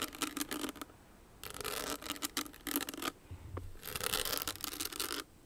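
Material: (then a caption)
Rhinestone, metal. Long nails scratch and rub across a small, hollow, owl-shaped clutch with crystals set in a metal frame. Bright, gritty rasping comes in bursts separated by short quiet gaps, with a faint low hum underneath.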